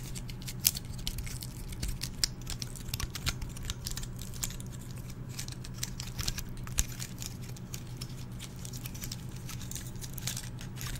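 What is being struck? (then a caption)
Pine cone scales. Fingertips and nails flick and scratch the stiff, open woody scales of a single small, dry, brown pine cone held in both hands close to the microphone. Quick, dry, bright clicks and crackly ticks patter irregularly throughout, over a steady low hum. Each click dies away almost instantly.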